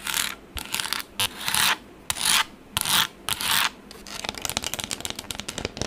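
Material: Plastic.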